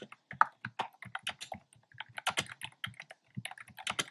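Fingertips with short nails type on a black plastic keyboard with hollow, round retro-style plastic keycaps in cream, pink and red. About two dozen quick, dry, clicky taps follow one another in an uneven rhythm. Each tap is bright, with almost no ring afterward.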